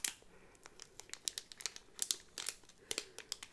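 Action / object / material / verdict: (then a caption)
scrape / thin clear plastic sleeve over a cardboard backing card / thin plastic / none. A small Disney enamel pin of Marie on a cardboard backing card, sealed in a clear thin plastic bag, is held in both hands with long pink nails and turned front to back. The thin plastic sleeve gives off a quick run of sharp, bright crinkles and crackles with almost no low end. It sounds like a brief, close-up burst of plastic rustling.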